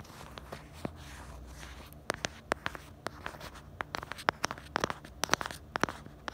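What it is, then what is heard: Plastic phone case. Long nails scratch and tap the star-decorated black bumper and the back of a pink plastic phone case. Soft scratching and rustling give way to about twenty-two sharp, dry clicks that die instantly with no ring, growing denser toward the end over a faint low hum.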